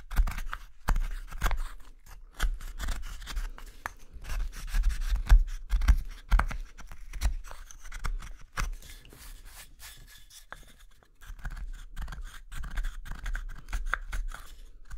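A gouge scrapes and carves the hollow interior of a solid wooden spoon bowl held in the hand. Short, irregular scraping strokes follow one another in quick succession, each with a dull low thump and a faint bright rasp. The strokes ease off into a quieter stretch before picking up again.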